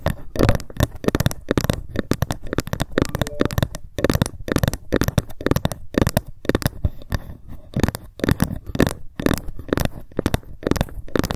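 A ruler is tapped rapidly with long fingernails, with occasional scratches along it. The result is a dense stream of short, dry clicks and ticks with little ring, heavy in low-end thump and faint in the highs.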